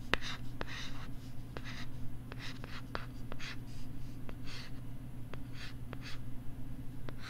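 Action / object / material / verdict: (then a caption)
scrape / plastic LCD writing tablet and stylus / plastic / none. A stylus writes and scratches across the screen of a pink plastic LCD writing tablet held right next to the microphone. Soft, bright scratchy strokes come in short bursts, punctuated by sharp, thin tapping clicks. A steady low hum runs underneath throughout.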